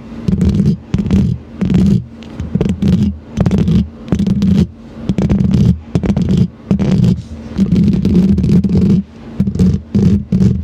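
Both hands scratch the hollow metal mesh grille of a silver condenser microphone with long green plastic claw nails. The result is loud, boomy, low rumbling scratches that come in repeated bursts with brief quieter gaps between them and little bright content.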